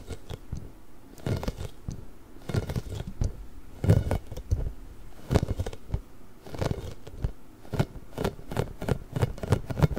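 A large pink hollow inflated rubber ball with nubs is held beside the microphone and scratched and rubbed with nails and fingertips. Quick bursts of dull, low scratching and rubbing come in clusters, with short hollow thumps and faint crisp texture above. The clip is close and dry, with quiet gaps between the flurries.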